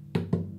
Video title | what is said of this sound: Guitar Health Check | If there's anything loose, you usually hear it quite quickly.